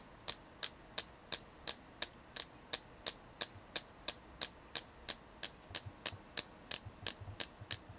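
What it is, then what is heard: Selenite crystal. A selenite crystal is tapped in a steady rhythm for ASMR, giving 24 short, bright, dry clicks with almost no ring. Faint low soft bumps sit beneath the final few taps.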